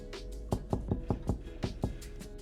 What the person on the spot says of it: 톡톡 두들기면 둔탁한 소리가 나면 빵이 완성된 것입니다...